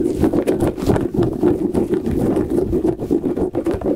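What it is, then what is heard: Rubber squishy puffer ball. Fingertips and short nails quickly tap and scratch a hand-sized, soft rubber light-up puffer ball with rubbery tentacles and an LED inside, held close to the mic, and flick its tentacles. The result is a dense, uneven run of soft, muffled pats and rubbery rustles with a dull, low-mid tone and almost no bright edge. Each pat dies away almost instantly.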